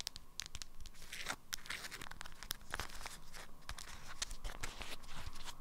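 An item wrapped in an orange-print, beeswax-coated fabric wrap is tapped and scratched by long nails on the stiff waxed fabric. Quick, dry clicks and bright, papery crinkling and scraping sounds come in a steady, dense run over a low background hum.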